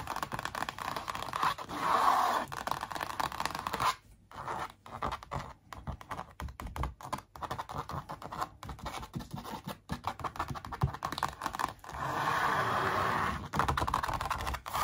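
Long nails tap and scratch along the printed outlines of a large canvas print stretched over a hollow-backed wooden frame. Dry, bright scratching strokes sweep across the surface, with sustained scraping at the start and end and a fast, irregular run of short taps and scratches in between.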